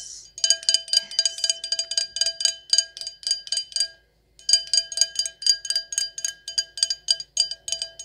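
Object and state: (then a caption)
Stemless wine glass. An empty, hollow stemless wine glass decorated with gold lettering and rhinestones is tapped with long acrylic nails. Quick, bright clicking taps with a thin glassy ring repeat in a steady run, pause briefly near the middle, then continue.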